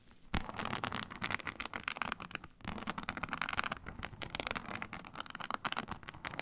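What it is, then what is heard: Snakeskin-textured faux leather sheet. Long nails on clawed hands scratch across a flat, iridescent, snake-scale synthetic leather mat. The result is a dense run of quick, dry, crackly scraping strokes with a bright, rasping texture and a brief lull partway through. The strokes vary between harder and softer passes.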